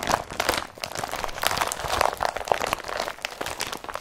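An empty blue IKEA Brattby carrier bag of woven polypropylene is pressed and squeezed under the fingertips and palm. It gives a dense run of dry crinkling and crunching bursts with a papery midrange rustle and bright crackle on top. The sounds overlap continuously for about four seconds with no ring after each press.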